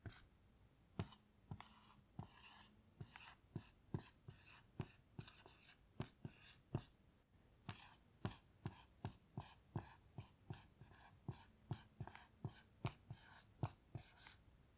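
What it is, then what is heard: Marker writing on a small melamine whiteboard. A black dry-erase marker writes letters on a small melamine lap whiteboard lying flat, making scratchy strokes on its smooth white surface. About 30 short, sharp taps and squeaky scrapes come in a quick, uneven rhythm, each with a low thud and a bright hiss that fades almost at once.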